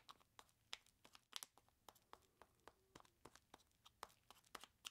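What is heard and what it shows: Long plastic claws grip and scratch the sides of a large clear plastic bag full of ice cubes. About twenty quick, bright crinkling scratches and crackles sound at a quiet level, each snapping off almost instantly with short gaps between them.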